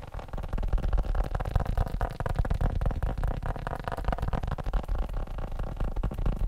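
A leather phone case is tapped quickly with fingertips in a dense, uneven flurry of soft, dull taps. The sound is low and muffled, with almost no high-frequency content, and each tap dies away almost instantly.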